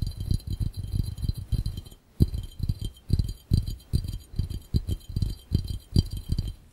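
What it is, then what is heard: Glass fishbowl. Both hands' fingertips tap rapidly on a clear, empty, hollow glass fishbowl. The taps make soft, low, hollow thuds with a faint bright glassy shimmer. The rhythm runs in quick bursts, with a brief pause around the two-second mark.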